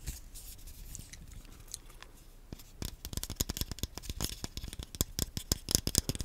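A small black plastic Wii nunchuk, a hollow handheld controller held close to the microphone, is scratched and tapped with fingernails. Soft, faint scratching comes first, then a quickening run of about two dozen sharp, dry plastic taps with almost no ring.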